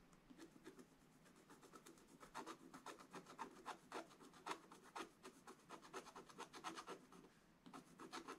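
A wooden stylus scratches small areas of a black coated scratch-art paper page. It makes quiet, dry, rasping strokes, about four per second in an uneven rhythm, each a short bright scrape with little low end. Brief pauses fall between bursts.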